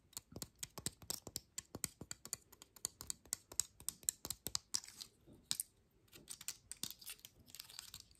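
Long nails scratch across the scales of a dry pine cone, working over its base and side. The result is a quiet, rapid string of sharp, dry clicks and scrapes, bright and high with almost no low end and no ring. Softer scratchy rustling fills the gaps between the clicks.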